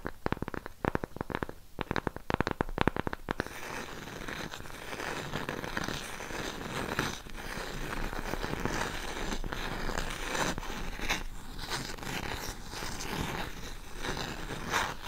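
A round cork coaster with a raised rim is held in both hands and worked with long pink acrylic nails. It opens with a quick run of sharp, dry taps for about three seconds, then shifts into steady, rough scratching that fills the rest of the clip with a dense, crackly rasp.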